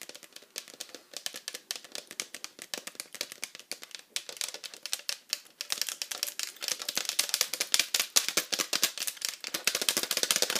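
Long acrylic nails on both hands rapidly tap and scratch the flat back of a hollow pink plastic iPad cover. The sound is a fast stream of dry, bright clicks with no low end, each dying away almost instantly. Past the midpoint the tapping grows louder and denser, with a sharper, hissier scratch.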